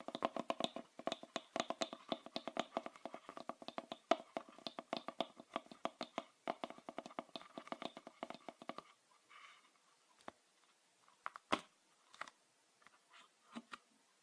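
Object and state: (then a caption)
Plastic bottle cap. Fingernails tap and scratch a red plastic screw cap on a full green PET bottle. For about nine seconds there is a rapid, dense run of short, hollow plastic clicks with a mid-pitched ring. After that come sparser, isolated sharp taps separated by faint scratching.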